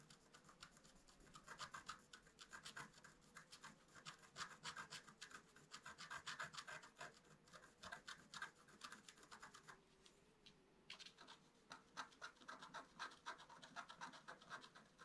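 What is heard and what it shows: A wooden stick scratches hard, quick strokes across a flat black-coated scratch-art paper card, making a dry, bright rasping scrape that repeats in uneven bursts. The scratching is quiet and continuous, with a brief lull around the ten-second mark before the strokes resume over a faint steady hum.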